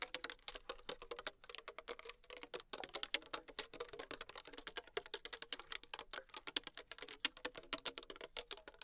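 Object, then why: Thin plastic water bottle with liquid. Long acrylic nails tap fast on the sides of a small, thin PET plastic water bottle with a blue cap, held in the hand and containing liquid. The result is a continuous stream of rapid, crisp, clicky taps with a bright, hollow plastic tone and almost no low end. Each tap decays almost instantly.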